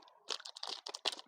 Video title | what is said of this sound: คุกกี้ชาไทย - Thai tea Cookies - wares sine bakery EP.97 | ให้ดูว่าเค้าเป็นคุกกี้แบบเคาะได้